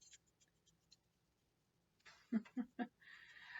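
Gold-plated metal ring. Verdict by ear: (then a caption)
Fake. A gold-plated costume ring with a diamond-like stone, from a thrift-store jewelry grab bag, is tapped and gives a tinny sound, with faint light ticks at the start and three distinct louder taps near the end. The ring is magnetic, showing it is not real gold, and its plating is cracking and peeling.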